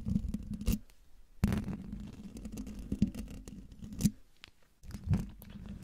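Fingertips with dark nails scratch the hollow domed metal mesh grille of a silver microphone. The sound is a close, low, rumbling scrape with a steady hum-like tone near 200 Hz. Sharper, brighter scratches burst through at intervals, and there are brief near-silent gaps in between.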